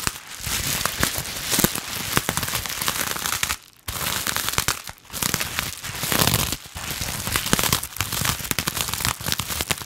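A clear air-bubble plastic wrap pouch is held in both hands while long nails scratch and squeeze it. The result is dense, bright crinkling and crackling with rapid snaps, broken by a few brief pauses before resuming.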